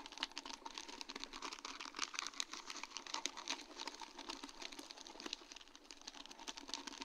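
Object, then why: Acrylic rhinestones on plastic mesh. A sheet of large round faceted acrylic rhinestones on a plastic mesh backing is tapped and scratched with long dark-painted nails. The result is a dense, steady run of quick, bright clicks and ticks with a light scratchy patter, mostly high-pitched with almost no low end, and each click dies away almost instantly.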